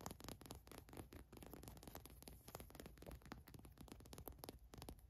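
Long nails scratch rapidly across the white printed letters on a green cotton fleece sweatshirt. The result is a quiet, continuous run of dry, crackly scratching strokes with short bright ticks over a soft, low rumbling body.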